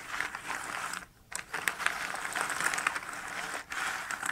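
Small cardboard jigsaw puzzle pieces spread in a shallow cardboard box lid are swept, shuffled and rubbed across the box bottom by a flat hand and fingertips. The result is a dry, bright, continuous rustling and scraping, with scattered sharp little clicks, almost no low end, and brief quiet gaps just after 1 second and near 3.6 seconds.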